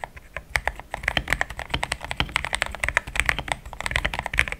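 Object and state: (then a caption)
Plastic mechanical keyboard. Fingertips of both hands type fast on a compact pink-white mechanical keyboard with thick plastic XDA keycaps, a polycarbonate plate and linear switches, resting on a desk mat. A rapid, steady run of short, crisp clacks with a bright click near 2 kHz and a soft low thump dies away almost instantly after each press.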